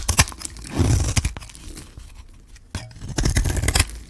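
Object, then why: Bar of soap cut with a metal blade. A metal blade shaves curls off a hand-held solid bar of pink dry soap coated in gold, producing crisp scraping and tearing crackles with a dull low body. Bursts of rasping shaves come at the start and again near the end, separated by a quieter stretch of faint scratching.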